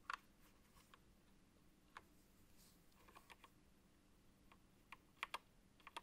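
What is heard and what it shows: A gloved fingertip presses the control button beside the small OLED screen on a backlit Apex Pro TKL (2023) wired gaming keyboard with plastic mechanical keycaps, then taps the keys. About twelve short, sharp, bright plastic clicks come with uneven gaps over a quiet, faint low background. Each click dies away almost instantly.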